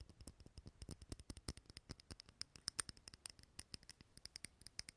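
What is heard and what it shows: Fingernails tap and scratch a small clear glass candle holder filled with green wax, held close to the mic. About 35 quick, dry, bright clicks patter in a fast uneven run at a quiet level, each stopping almost instantly with no ring.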